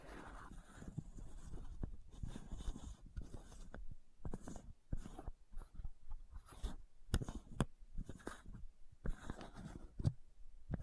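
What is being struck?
Plastic bottle cap.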